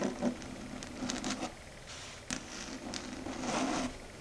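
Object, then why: Slate chalkboard. Long red acrylic nail tips tap and scrape across a flat dark grey chalkboard surface. The result is soft, dry clicks mixed with bright, scratchy scraping bursts over a faint steady hum.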